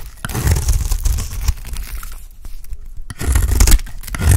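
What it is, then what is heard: Dry soap bar shaved with a blade. An oval, solid, dry pink soap bar held in the hand is shaved into curls with a utility blade, making a dry, crunchy scraping and tearing sound. The scraping is heavy in low rumble and comes in long strokes that quiet briefly in the middle before swelling louder again toward the end.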